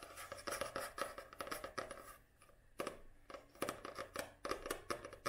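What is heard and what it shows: Long nails tap and scratch quickly on the glossy printed cover of a small paperback book held upright. The result is a run of crisp, dry clicks and short scraping strokes that die away almost instantly. A brief quiet pause falls in the middle before the tapping picks up again.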